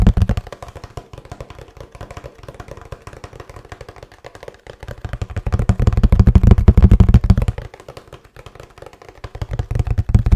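A hollow kraft cardboard box, held upright and then tilted, is knocked and tapped with fingers in a fast, fairly even stream of short, dull, low thuds. The tapping swells into a louder, heavier stretch in the middle of the clip, drops back to soft taps, and builds again at the end.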